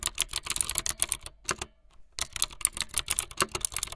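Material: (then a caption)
Plastic. Fingertips with long light-blue nails type fast on a full-size plastic mechanical keyboard with white, blue and yellow plastic keycaps and a blue backlit frame. Rapid, bright, sharp key clicks come in quick bursts, pausing for about half a second in the middle before the typing resumes.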